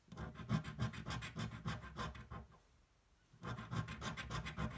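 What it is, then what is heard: Scratch-off lottery ticket being scratched with a coin. The edge of a metal coin scratches a thin, flat cardboard scratch-off lottery ticket lying on a table, making quick, steady back-and-forth raspy strokes. The strokes stop for about a second of near silence, then the scratching resumes at the same brisk pace.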